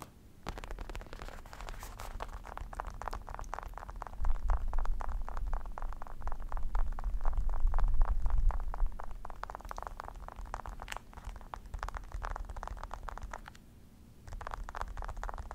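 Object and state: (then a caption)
Faux leather office chair backrest being scratched. Both hands scratch and grip a black padded faux leather office chair backrest with a mesh edge, working the surface with the fingertips. Quick, uneven scratches crackle and rustle over a deep low rumble. The sound swells louder from about 4 to 9 seconds and briefly drops out near 14 seconds.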